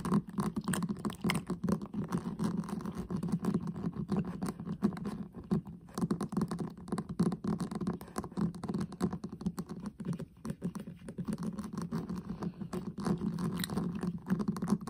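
Fingertips and nails rapidly tap and scratch the pink lid of a flat, hollow metal tin eyeshadow palette with a gold rim. The sound is a dense, continuous patter of soft, hollow taps centered low around 200 Hz, mixed with light scratching. The taps die away almost instantly, with little brightness.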